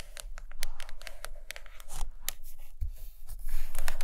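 Long acrylic nails on both hands scratch and tap across the glossy printed cardboard cover of a large hardcover book with cartoons, lying flat on a fuzzy carpet. The result is a quick, irregular stream of dry, bright scratches and crisp ticks over a faint low rumble.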